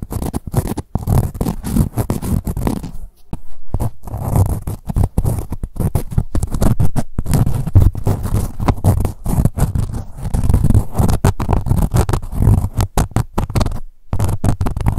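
Long white nails scratch and rub a soft, padded blue-grey ribbed corduroy cosmetic pouch with a woven label. The result is a dense, low, muffled scraping texture that runs almost continuously, with brief near-silent breaks around 3 and 14 seconds.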